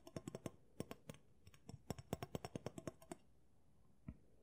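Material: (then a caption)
Steel, wood. Fingers and nails tap on the steel blade and riveted wooden handle of a chef-style knife held in both hands. About two dozen short, dry clicks and taps come in quick irregular runs, with a brief pause and one last isolated tap near the end. Each tap stops almost at once.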